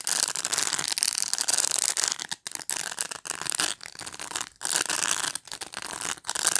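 Fingernails scratch and rub across the plastic bristles of a black pet brush, making a dense, bright, crackly rasp. The scratching comes in long bursts broken by a few brief silent pauses, with almost no low end.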